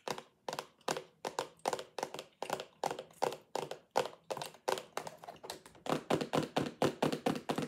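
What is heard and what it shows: A clear plastic lidded sensory bin box with toys inside is tapped and knocked with long acrylic nails. Quick, dry plastic clicks and knocks follow in a loose, steady rhythm with almost no ring. They grow louder and closer together in the last couple of seconds.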